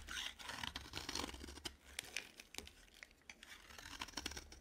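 The surface of a dry, green solid bar of soap is scraped with a metal utility knife blade. The result is a run of crisp, crunchy scratching and shaving strokes, bright and papery with little low end, each stroke short and dry with no ring.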